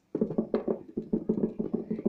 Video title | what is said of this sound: Teacher Revati -Activity for Kids | it is different than the kind of coins sound